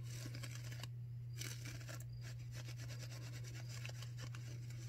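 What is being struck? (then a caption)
Disposable non-woven paper face mask. A white disposable non-woven surgical face mask, thin, soft and flexible, is worn on the face while both hands scratch and rub it with long manicured nails. Continuous bright, crisp scratching and rustling textures flicker over a steady low hum that persists throughout.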